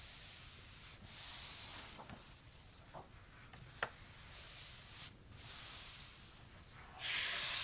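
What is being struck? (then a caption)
Paper notebook pages. Fingertips rub back and forth over the uncoated paper pages of an open notebook with a pink hardcover, and pages are turned. The clip is a series of soft, bright, hissy swishes that swell and fade, with faint papery ticks and one sharper crisp snap near the middle.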